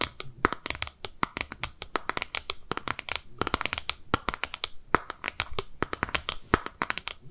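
A small, hollow, rectangular translucent pink plastic case, held in both hands, is tapped and scratched with long nails. The result is a rapid, uneven stream of dry, sharp clicks and taps with no ring, mixed with light scratchy rustle. Each tap has a bright edge and a slight hollow tone around 1.3 kHz.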